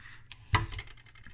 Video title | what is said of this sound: DIA-E AC/DC Voltmeter 10mV-1000V range test repair teardown | you can rotate them real slow and listen to loose objects